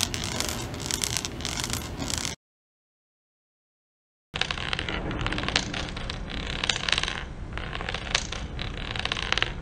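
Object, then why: Ceramic floor tiles. A spring-neck inspection rod with a metal ball head is dragged across a textured ceramic tile floor outdoors. It makes a continuous, gritty rolling scrape with rapid small taps and bounces as it crosses the tile joints. The sound runs in two stretches with a brief silent break between them.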